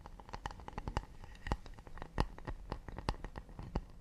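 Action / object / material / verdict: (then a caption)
tap / acacia wood plate / wood / none. A round acacia wooden plate is held in one hand while the fingernails of the other hand tap and scratch its rounded underside. A quick, uneven series of short, dry clicks with a soft low thud comes through, linked by faint scratching. Each tap dies away almost at once.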